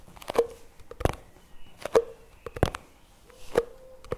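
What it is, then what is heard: Plastic jar lid tapped. Fingertips tap the white plastic lid and rim of a plastic chocolate spread jar lying on its side on a table. Short, dull plastic clicks come at an irregular pace, some carrying a faint, brief mid-pitched ring around 465 Hz.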